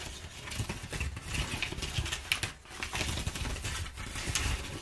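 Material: Paper.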